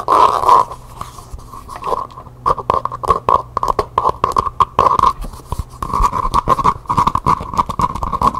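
Long painted nails tap and scratch rapidly on the curved side of a single small hollow cylindrical pencil cup covered in map-printed faux leather, held in one hand. Quick, dry clicks and scratchy rubs come in dense bursts. A hollow resonance rings around 1.1 kHz.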